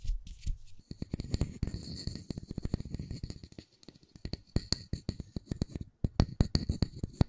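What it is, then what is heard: Wooden disc tapped and scratched. Fingertips and nails scratch and tap the surface of a round, flat, solid wooden disc about the size of a palm with a small center hole, held in both hands close to the microphones. Dense, dry taps and short scratching strokes come in bursts with brief pauses, mostly low and woody with a faint bright hiss, each tap dying away almost instantly.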